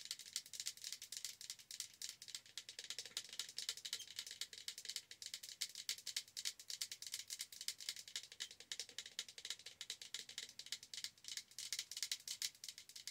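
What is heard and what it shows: A large, hollow, holographic Starbucks plastic tumbler with a pink lid is held in both hands and rapidly tapped with the long acrylic nails of both hands. The result is a quiet, continuous stream of crisp, bright clicks that stop instantly with no ring, for about 13 seconds.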